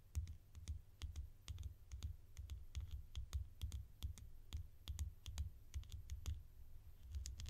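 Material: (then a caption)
Plastic. Long nails tap and scratch the ridged edge of a small orange plastic screw cap held between the fingers. The result is a quick, irregular run of sharp, bright clicks and scratchy ticks that die away almost instantly, over a steady low rumble.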